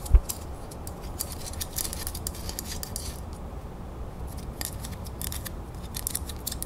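Long fingernails tap and scratch the raised surface and edges of a small, solid brass, crown-shaped decorative plaque held in the fingers. A sharp tap at the start gives way to quick, crisp ticks and scratchy rasps over a steady low hum.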